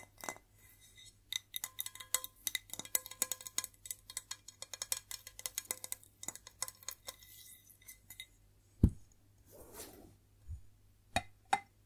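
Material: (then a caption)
Ceramic. A white ceramic plate is tapped and scratched, giving rapid clinking, ringing taps. A few louder, lower thuds and a short scratching sweep come near the end.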